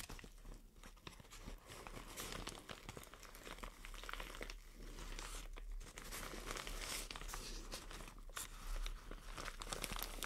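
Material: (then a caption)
Plastic. Long nails scratch and crumple a white plastic shower cap with a green print. The result is a steady, dense stream of bright crinkling and crackling with short scratchy bursts throughout.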